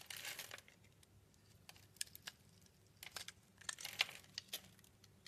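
A palm-sized, solid translucent orange rectangular soap bar is held in the hand and cut into small cubes with a yellow-handled utility blade. The blade makes dry, bright crackling and crinkling scrapes in quick bursts, with a longer rustle at the start and sharp clicks later. The sound is quiet, with almost no low end.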